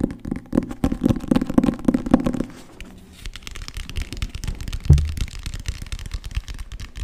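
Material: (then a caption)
Cloth, board. Fingertips and nails tap quickly on the front cover and spine of a solid green cloth-covered hardcover book with gold lettering. The taps are short, dull and low, coming in rapid, uneven bursts that are busiest over the first two and a half seconds. After a brief quieter gap comes lighter tapping with one heavier thump near the five-second mark.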